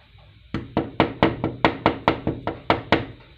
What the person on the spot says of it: knocking on the door sound